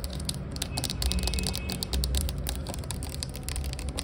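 Long acrylic nails rapidly tap and scratch the cap and body of a hollow, clear plastic Glade rose air freshener bottle, about 460 ml, with liquid inside, lying on its side. Quick, bright clicking taps run over a steady low hum throughout.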